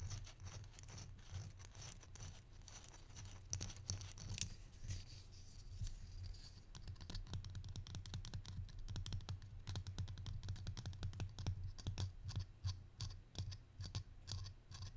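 A small hollow wooden barrel-mug pepper shaker with a side handle and a holed top is held in one hand and tapped with the fingertips and nails of the other. Quick, irregular dry taps and light scratchy clicks, bright with almost no ring, run over a steady low hum and grow denser in the second half.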